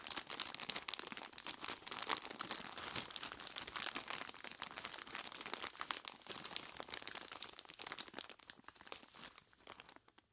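Purple nitrile-gloved fingertips squeeze and scratch the sides of a large clear plastic bag full of crushed ice. A dense, bright stream of crinkling plastic and crunching ice continues steadily with almost no low end. It thins out and fades near the end.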